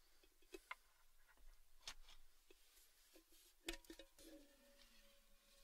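An empty red Baileys gift tin, a tall, hollow, cylindrical printed metal tin, is tapped and handled with fingertips and nails, first with its lid on and then with the lid removed to show the open tin. Quiet, sharp, bright clicks and light tinny taps come with soft scraping handling noise. One tap near the end leaves a faint, sustained metallic ring.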